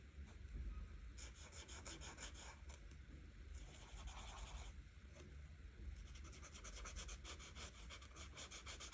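An art marker tip is rubbed back and forth over a flat printed paper coloring book page while coloring in the green background. The sound is a steady, soft scratchy rasp. Bright bursts of friction rise and fall with each stroke over a low, constant rumble.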